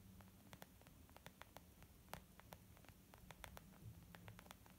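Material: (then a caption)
Leather. Long nails tap quickly on a small, white, textured leather zip makeup bag lying flat, its soft, hollow body giving short, dry clicks that stop at once. The uneven taps sit over a steady low hum and faint static hiss.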